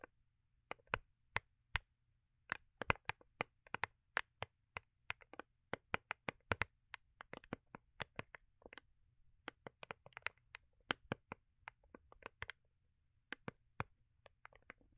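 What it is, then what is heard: Cardboard gift box with foil-paper covering. Long acrylic nails tap and scratch a small, rigid, hollow cardboard gift box covered in holographic foil paper, held in the hands. Quick, sharp, dry clicks follow one another in an uneven rhythm, with bright, crisp tops and no ring. Softer scratchy rustles fall between the taps, all over a faint low hum.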